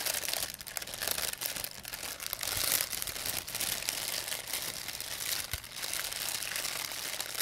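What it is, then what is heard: Plastic bag. A thin, empty white plastic pharmacy bag is crumpled and rubbed with fingertips and long nails. It makes a continuous, dense, bright crinkling with sharp crackles and almost no low end, the texture centred around 2 kHz. The level rises and falls slightly throughout.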